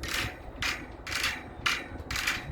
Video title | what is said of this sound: Installing new L.E.D parking lot lights.. | you can hear the wires just bouncing around in there